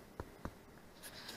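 Two taps on a freshly baked zero-carb pork rind bread loaf in a loaf pan give short, dull, hollow-sounding knocks. The hollow sound shows the loaf is baked through, and it held its shape as a loaf.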